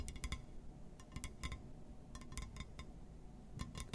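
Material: Glass.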